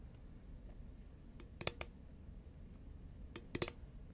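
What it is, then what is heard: Cardboard snack tube tapped with fingernails. Long nails tap and click on a hollow green Pringles composite cardboard tube, held at an angle and then upright. Two quick clusters of sharp, bright clicks with a hollow mid-pitched knock stand out over a low, steady background rumble. Each click dies away almost instantly.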